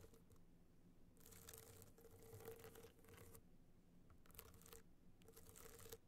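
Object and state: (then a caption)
Rhinestone-studded hard-shell clutch, scratched. Long black nails scratch across the rhinestone surface of a hollow gold rhinestone-studded hard-shell clutch held tilted. It makes soft, dry, bright scratching in several drawn-out bursts over a faint steady low hum, with quieter gaps between strokes.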